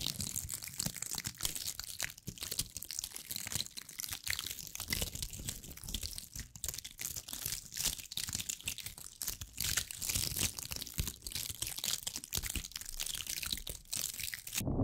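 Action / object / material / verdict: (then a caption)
scrape / cluster of small dried pine cones scratched with fingernails / pine cone / none. Long acrylic nails scratch a hand-sized cluster of small dried pine cones, making a dense, continuous stream of bright, crisp crunching and crinkling scratches. The rapid scraping stays steady throughout with little low end, then cuts off abruptly at the end.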